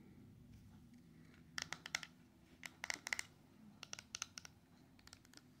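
A small closed silver-coated cardboard jewelry ring box, hollow with a ring inside, is held over a paper towel and tapped and scratched on its sides and top with long yellow and orange acrylic nails. Quick, bright clicks and light scratches come in loose clusters over a low background hum, each tap dying away almost instantly.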